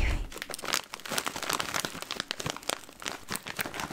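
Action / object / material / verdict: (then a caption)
scrape / plastic popcorn bag / plastic / none. A full, closed green Smartfood plastic popcorn snack bag, sealed with a purple clip, is crinkled and squeezed with fingers. Dense, bright crackling and crinkling rustles come in rapid bursts throughout, with a low thump at the start.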